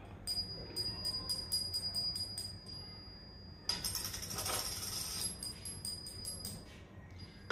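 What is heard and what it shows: A fake silver dollar coin made of copper alloy rather than silver is tapped or dropped, giving a series of quick, bright metallic clinks with a high, thin ring. A louder burst of jangling rings near the middle of the clip, and the short ring reveals the coin is not real silver.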